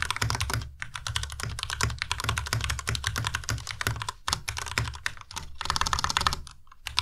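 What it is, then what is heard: Plastic mechanical keyboard. Fingertips of both hands type continuously on a compact white Ducky Miya Pro mechanical keyboard with white plastic keycaps and Cherry MX Red switches. Rapid, dry clacks blend a low thocky body with bright, crisp top-end clicks, each dying away almost instantly. Brief pauses break the otherwise steady stream of keystrokes.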